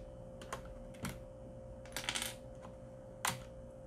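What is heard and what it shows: Fingertips press the keys and exposed red plastic switches on a metal plate of a Corsair mechanical keyboard with several keycaps removed. Seven sharp, bright typing clicks come at uneven intervals, with a quick burst of four in the middle, over a faint steady hum.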